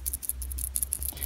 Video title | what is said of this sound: HOW TO MAKE A TILT SENSOR ACTIVATED ALARM USING ARDUINO. | if you shake the sensor, you can hear it. You can hear that sound. That's because of those simple roller balls that are inside the face cap here